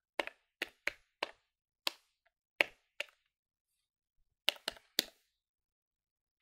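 Fingertips press the plastic keys of a plastic electronic desktop calculator held in one hand above a wooden table. About a dozen sharp, dry clicks come in quick, uneven bursts with pauses between them. Each click is bright and snaps off instantly with no ring.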